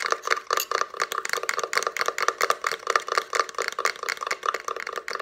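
Long nails tap and scratch rapidly on the ridged slats of a small hollow box made of layered plywood, with a paper card sticking out of its top. The result is a fast stream of dry, bright clicks centered around 1.2 kHz, with almost no low end and no ring between hits.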